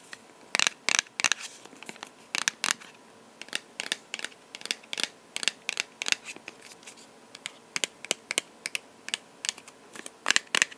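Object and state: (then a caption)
Box tapped with fingers. A box is tapped with the fingers in uneven bursts of quick, light taps. Each tap is a sharp, dry, bright click with almost no low end, stopping at once with no ring, over a faint steady hiss.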